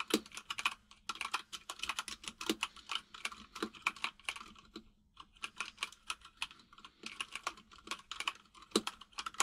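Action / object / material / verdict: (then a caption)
tap / plastic mechanical keyboard / plastic / none. Fingertips of both hands type on a full-size mechanical keyboard with white and grey plastic keycaps and a hollow case. Quick, bright plastic key taps come in rapid bursts, with a brief pause about halfway through before the typing resumes.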